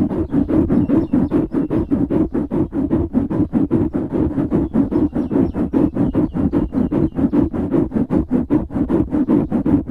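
Fingertips and nails scratch fast on the sides of a black foam windscreen on a microphone. About fifty rapid, evenly paced strokes sound as dense, muffled rasps centered low around 285 Hz with a soft rumble and little bright content. Each stroke fades almost at once, blending into a continuous rhythmic scratching.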